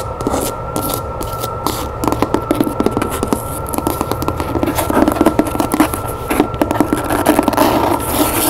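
Long nails rapidly tap and scratch the cover and page edges of a solid, medium-size, red cloth-bound hardcover book, held and lying on a wooden table. Quick dry clicks mix with soft scraping rasps in a steady, fast rhythm, while a faint constant tone hums underneath.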